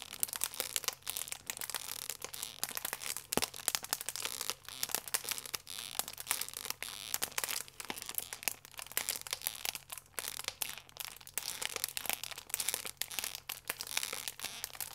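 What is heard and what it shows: A full plastic-film croissant pack is squeezed and crinkled with thumbs and fingers for 15 seconds. Dense, bright crackling fills the clip as a continuous stream of sharp, quickly fading crinkles, with almost nothing in the low end.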